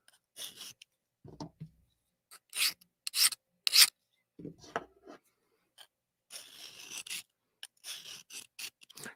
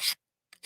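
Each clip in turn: First: Rough, hissy rasping strokes of a soft steel blade dragged over an abrasive plate, dull and mushy rather than glassy. Second: Two quick, bright scrapes, hissy and high with no low body, as a hard steel blade glides over diamond grit.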